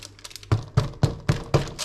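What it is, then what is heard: Hollow-sounding baked loaf, done. A spelt sourdough loaf, just out of the oven after 30 minutes, is tapped five times on the bottom, giving short, low, hollow thuds. The hollow sound shows the loaf is baked through.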